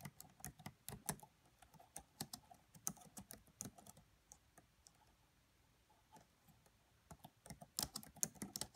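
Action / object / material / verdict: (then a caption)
tap / plastic laptop keyboard keys / plastic / none. Fingertips and long nails type and tap on the black plastic chiclet keys of a red laptop. The quiet, bright, clicky keystrokes are short and dry and come in uneven runs. They thin out to softer taps in the middle and pick up into a livelier burst at the end.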